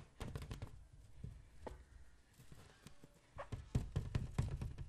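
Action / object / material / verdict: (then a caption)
tap / water-filled latex balloon / latex / none. A boy taps and scratches a hand-sized green latex balloon filled with liquid using his fingertips and nails, while a second balloon sits idle in the other boy's lap. The result is an irregular series of soft, dull, low thunks that die away almost at once, with faint bright scratchy edges, growing a little louder and denser toward the end.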